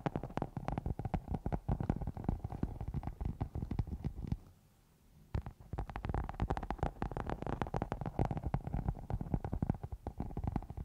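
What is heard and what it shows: Long nails of both hands scratch and rub a round black foam cover on a microphone, making a dense stream of close, muffled, bassy scratching and thumping bursts. The scratching drops to near silence for about a second midway, then resumes just as busily to the end.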